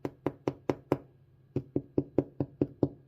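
A fingernail taps the top of Danish white bread rolls fresh out of the oven, giving twelve quick, dry knocks: a run of five, a short pause, then seven more. Each tap is a soft low-mid thud that dies away almost at once, and the hollow sound shows the rolls are baked through.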